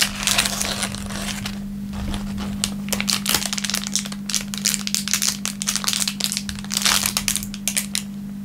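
An empty, thin clear plastic film wrapper is crinkled in the hands and rubbed with the fingertips against a wooden table. It gives dense bursts of bright, crackling crinkles that come and go in waves over a faint, steady low hum.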